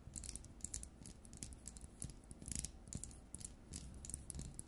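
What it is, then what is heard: Plastic LED light bulb. Long nails tap and scratch across the frosted plastic dome of an LED light bulb. Quick, bright clicks and scrapes sound in an irregular stream over a soft low rumble.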